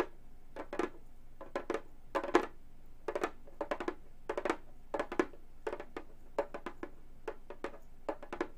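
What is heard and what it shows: Long gold metal claws tap the synthetic head of a hollow frame drum in quick clusters of about 27 light, dry taps. Each tap is short and centers around 355 Hz with a brief bright click, over a faint steady low hum.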